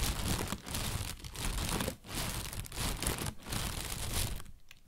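An inflated, hollow white plastic bag is crinkled with the hands and tapped with fingertips and nails. This makes a dense, continuous crinkling and rustling with a full low thump underneath and bright crackle on top. It comes in bursts separated by brief quieter dips, with one near-silent gap just before the end.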